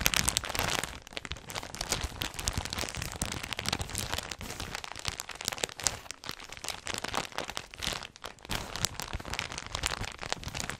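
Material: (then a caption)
Plastic. A clear plastic polybag holding folded white knit clothing with a barcode label is held in both hands with long red nails and squeezed and crinkled close to the microphone. A dense, continuous run of bright, crackling crinkles fills the whole clip, soft and full, with quick snaps that die away almost instantly.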